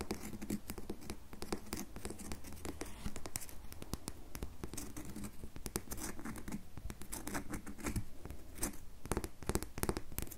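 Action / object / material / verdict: scrape / bar of soap / soap / none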